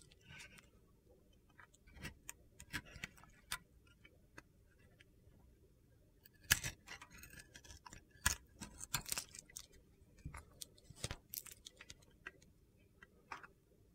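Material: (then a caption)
Soap. A metal box-cutter blade carves the coating off a solid yellow and navy glitter-coated soap bar held in the hand, exposing the white soap underneath. Irregular, quiet, crisp scrapes and crunchy clicks sound, with bright, gritty texture and no ringing after each cut.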